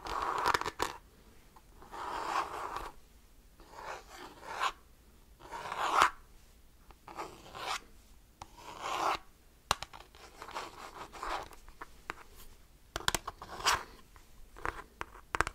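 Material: Plastic.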